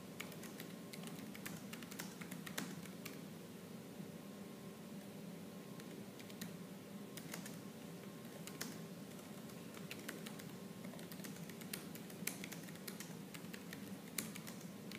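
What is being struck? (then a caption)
Plastic laptop keyboard. Rapid typing with fingertips and purple-painted nails on a laptop keyboard with black plastic keys. A dense, continuous stream of quick, light clicks and taps is heard, with a few sharper, brighter keystrokes standing out over a low, soft background. Each click is short with almost no ring, and the overall level is quiet.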